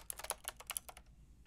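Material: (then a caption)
Plastic. A Lofree plastic mechanical keyboard with a plastic frame and round keycaps is typed and clicked with long red nails, ending with one hand. A quick run of sharp, bright plastic clicks fills the first second, then fades to quiet.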